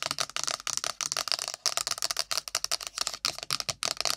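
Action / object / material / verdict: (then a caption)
tap / cardboard phone box / cardboard / none. An iPhone's cardboard box is tapped rapidly with long nails. About 20 sharp, dry, bright clicks come in a quick, uneven run, each stopping dead with no ring.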